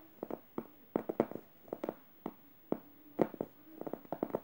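Fingernails scratch the plush fabric of a yellow stuffed emoji cushion across its upper face near the felt eye. The result is an irregular series of short, soft, muffled scratching bursts centered in the low midrange, some close together in quick pairs and clusters, with almost no bright edge and no ring between strokes.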